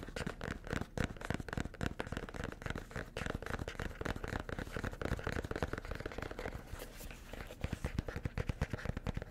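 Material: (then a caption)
Cardboard. A small, hollow red cardboard gift box with white polka dots and a white ribbon bow, held close to the mic, is tapped and scratched with fingertips and nails. The result is a dense, continuous stream of quick, dull, low hollow knocks mixed with papery scratching, each tap dying away almost at once.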